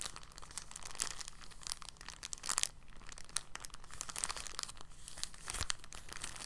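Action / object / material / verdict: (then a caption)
scrape / thin polyethylene plastic bag / plastic / none. A thin, clear, empty polyethylene bag is crinkled and squeezed with fingers, producing a steady stream of soft, crackly crinkles with bright, sharp snaps. Slightly louder bursts come around 2.5 and 5.6 seconds over a faint low hum.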